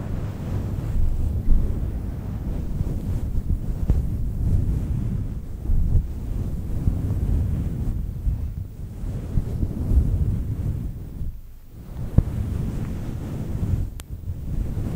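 Long nails scratch the surface of a fluffy synthetic faux-fur microphone windscreen, making a continuous, dense low rumbling rustle with almost no high content. Brief dips and a few sharp ticks punctuate the steady scratching.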